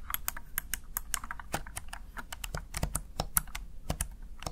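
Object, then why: Plastic gaming keypad keys. Fingertips and nails press the keys of a small backlit plastic Razer Tartarus Chroma gaming keypad in a quick, uneven run of about 26 taps. Each press is a short, dry plastic click with a bright top and a soft low thump, and none of them ring on.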